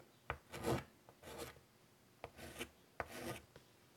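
White chalk makes quick, scratchy strokes across a large, flat wood-framed chalkboard while drawing a butterfly. Five sharp taps of the chalk landing on the board come between short, rasping strokes with bright, hissy scraping. The strokes come in brief bursts separated by quiet gaps.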